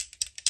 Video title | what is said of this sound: GRWM Drugstore Makeup Favorites-NEW L’Oréal Skin Ink Review | I'm going to shake it up. Do you hear that ball in there?